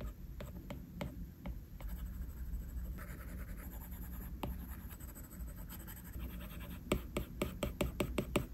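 A plastic stylus tip draws eyelashes on a flat, solid iPad glass screen, making fine, quick scratching strokes. Short bright ticks and scrapes sit over a steady low hum, and the strokes come faster and sharper near the end.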